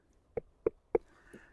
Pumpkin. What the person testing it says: 나무 문처럼 속이 빈 소리가 나야 합니다